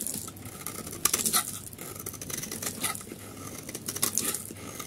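A solid oval yellow bar of dry soap is held in one hand and shaved with a metal utility knife blade, scraping crumbly flakes onto a marble surface. The sound is a dense run of short, dry, bright scrapes and crackles with almost no ring, some strokes standing out louder than others.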